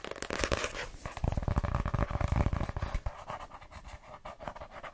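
Long painted nails tap and scratch the glossy card cover of a small, solid paper paperback novel, *My Name is Lucy Barton*, held in the hands. Quick, irregular, dull tapping mixes with scratchy rustles in a rapid flurry, growing softer and lighter after about three seconds.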